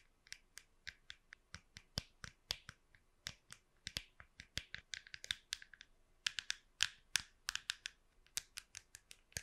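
Long pink nails tap the smooth, curved top of a small, hollow plastic wireless computer mouse held flat in one hand beside the microphone. About 36 quiet, sharp, bright clicking taps come in an irregular rhythm, some in quick clusters, each dying away almost instantly with very little low end.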